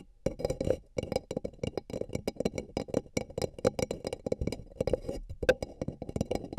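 Fingertips and nails tap and scratch the outer walls of two empty, hollow, beige paper cups placed over the microphone ears. A rapid, uneven run of dull, hollow taps with a resonance around 500 Hz blends with soft scratching. Each tap dies away almost instantly.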